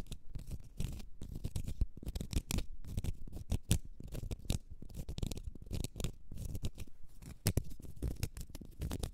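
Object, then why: Small cork stopper. A small, solid, round cork stopper held in the hand is scratched with long red acrylic nails. The result is a quick, dense run of short, dry scratching strokes with a soft, low, muffled body and only faint bright edges.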